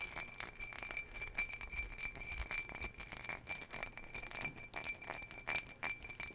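A hollow, empty ribbed green glass jar is held near the mic and scratched along its ribs with long fingernails. The result is a quiet, fast run of bright, dry clicking scrapes with a steady high whistle-like tone underneath and almost no low end.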